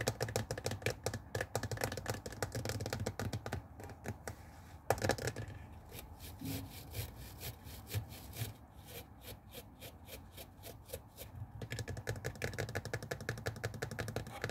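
Fingernails scratch and tap the hollow blue plastic water tank and grey plastic rim of a handheld garment steamer resting on a wooden table. Dense, rapid scratching at the start gives way to quieter, evenly spaced clicky taps in the middle, with a short louder burst just before. Busier scratching returns toward the end.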